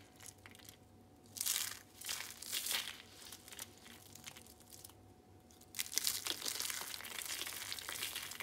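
Pink and blue rolled dried soap curls, brittle and hollow, are grabbed and crushed in the hand into flakes on a striped mat. Bright, dry crunching and crackling comes in bursts, with quieter rustling between, then a long steady stretch of crisp crumbling toward the end.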